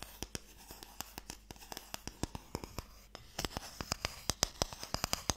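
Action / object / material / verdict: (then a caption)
tap / small wooden box with sticks inside / wood / none. Fingernails scratch and tap on the lid of a small, closed, pale wooden Mikado box, a hollow box that holds sticks, held up close. A steady run of sharp, dry clicks and brief scratches rises over a quiet hiss, with no ring after each hit. The taps grow louder and brighter in the second half.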